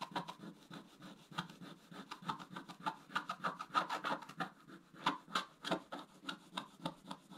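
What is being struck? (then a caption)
Coated scratch-art paper scraped with a wooden stylus. A wooden stylus scratches away the coating of a flat, coated scratch-art paper page in rapid, repeated strokes, roughly three per second. Each stroke makes a short, dry, raspy scratch with a bright edge, and the strokes vary slightly in rhythm and strength.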